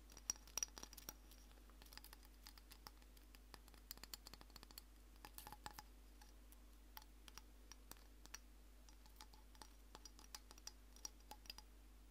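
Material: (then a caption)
Shell. Long painted nails tap and scratch across the hard surface of a medium-sized hollow natural seashell with spikes, held up in both hands. Quick, irregular, sharp clicks and light scratches sound bright and dry, each dying away almost instantly over a faint steady low hum.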